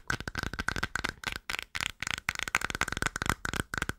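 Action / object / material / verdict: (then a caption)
tap / small plastic cream jar with lid / plastic / none. A small, hollow, round white-and-blue plastic cream jar held in the hands is tapped and scratched with long nails on its white lid. The result is a quick, irregular run of dry, clicky taps and scratches with a brittle, bright edge and almost no ring.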